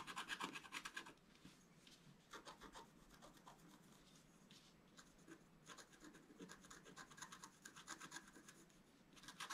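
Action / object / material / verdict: scrape / wooden stylus on black-coated scratch-art paper / coated paper / none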